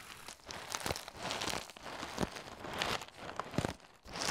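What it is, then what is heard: Cardboard cereal box. A medium cardboard cereal box (Cascadian Farm Ancient Grains), hollow and apparently filled with cereal, is held close to the microphone while fingertips and nails tap and scratch it, and it is handled and shaken. The result is a quiet, uneven stream of dry, crinkly taps, scratches and rustling crunches with a bright, papery edge and no ring.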